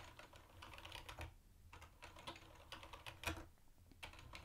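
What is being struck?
Plastic keyboard with round plastic keycaps.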